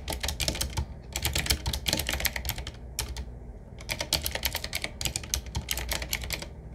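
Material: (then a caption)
Plastic and metal. A typewriter-style retro mechanical keyboard, medium-sized, with a hollow case, round black keycaps set in metal rings, and a wood-finish frame, is typed on with the fingertips of both hands. Rapid, bright, clacky key strikes arrive in bursts, with brief pauses near 1, 3 and 3.5 seconds. Beneath the clacks runs a steady low hum.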